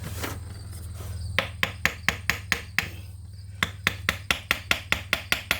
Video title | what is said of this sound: KX80 hasn't run in years, and will not start.(Part 2) | You can hear the sound changes from a solid sound to a more high-pitched tap when it comes loose.